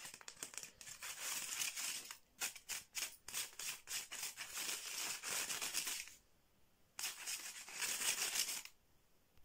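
Fingernails and fingertips, with rings on the fingers, rapidly tap and scratch the slats of a flat bamboo or wood slat mat with a red edge, resting on cloth. Bright, crisp clicking taps blend into dry, hissy scratching, dominated by high frequencies, in uneven fast bursts. The scratching stops for a near-silent gap, returns for a final burst, and ends in quiet.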